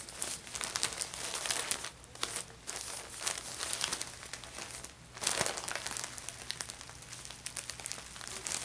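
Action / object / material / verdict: scrape / thin plastic shopping bag / plastic / none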